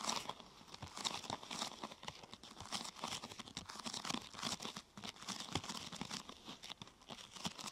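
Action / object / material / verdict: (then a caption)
scrape / thin plastic sheet / plastic / none. Hands press and scratch the top and sides of a thin, glossy purple plastic sheet curved into a hollow half-tube. This produces a steady stream of bright, dry crinkling and crackling with sharp, quickly dying snaps and very little low end.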